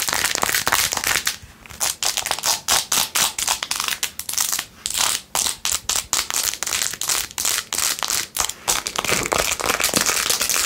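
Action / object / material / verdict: scrape / plastic phone case studded with acrylic rhinestones / plastic / none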